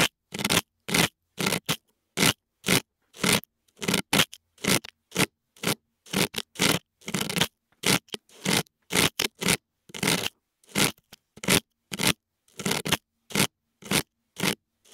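A thin metal dental pick, held in fingers with long nails, scrapes inside the left ear canal of a white dummy head whose soft silicone ears hold the microphones. Short, bright, crackly scraping strokes come in an uneven series of about two per second, each separated by brief silence.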